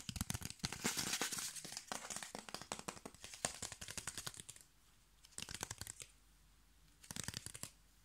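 Fingernails scratch and tap along the exposed ridged edge of a piece of brown corrugated cardboard. It makes a fast, irregular stream of dry, bright crinkling scratches and clicks for about four and a half seconds. Two shorter bursts follow, separated by near silence.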